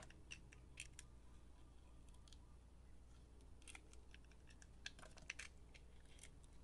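A utility knife blade shaves and carves thin strips off a hand-held solid rectangular soap bar, turquoise with pink glittered layers. Quiet, crisp bursts of bright scraping and cutting come in irregular short strokes over a steady low hum, each one dying away almost instantly.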